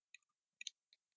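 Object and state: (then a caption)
Fake resin amulet. A Somdej Wang Luang amulet sold as red carnelian or agate stone, found to be a fake made of resin or melamine because air bubbles are visible in it, is tapped several times. The taps are quiet, short, bright clicks that stop dead with no ring and almost no low end, the sound of the imitation material rather than stone.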